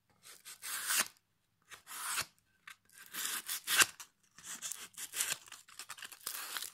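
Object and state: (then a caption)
Pine board being sanded. A solid pine plank, held upright in one hand, has its face rubbed with folded sandpaper held in the other hand. Short, irregular strokes of bright, scratchy rasping start and stop with brief silent gaps, with almost no low end. The sound is dry and does not ring on after each stroke.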